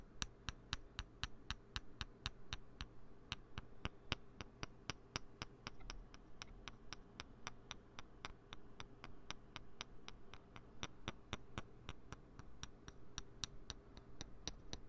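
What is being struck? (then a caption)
Plastic poker chips. Two small, solid green plastic poker chips are tapped and clicked against each other by fingertips close to the microphone. About 56 sharp, bright clicks come at a steady pace of roughly two per second, each dying away almost instantly. A low, steady hum sits underneath throughout.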